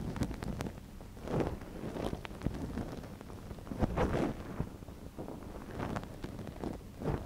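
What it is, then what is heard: Silicone ear microphone being scratched. A gloved hand holds a soft silicone ear model on a binaural microphone while a wooden ear pick scratches inside it. The result is close, muffled rustling and scraping, mostly low and dull with faint brighter crackles, arriving in repeated swells of scratching.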